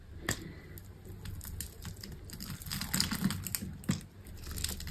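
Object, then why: Green soap bar. A small knife slices cubes off a solid bar of dry green soap that has been scored into a grid, and the pieces crumble away. Dry, crisp crunches and crumbly crackles repeat over a low, steady background rumble, with sharper cuts standing out near the start, in the middle and toward the end.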